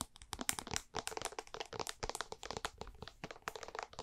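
A white plastic jar with a blue label is tapped on its base and sides with long painted nails and fingertips. The result is a rapid, dense run of short, dry, bright clicks and knocks that die away almost instantly.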